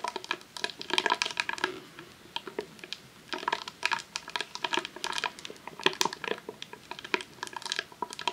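A long roll of vinyl adhesive sheet in a clear plastic sleeve, resting on a tablecloth, is tapped and scratched with long nails. Dense, bright crinkling and quick clicking taps come in bursts, with short quieter gaps between them.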